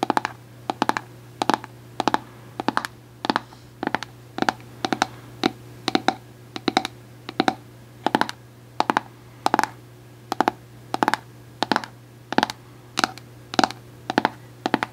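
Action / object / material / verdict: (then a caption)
tap / plastic screw lid of a jar / plastic / none. Long acrylic nails tap and scratch the top of an orange plastic screw lid on a Cantu cosmetic jar. Sharp, dry clicks come in quick pairs and clusters at a steady pace, each dying away almost instantly. A faint, constant low hum runs underneath.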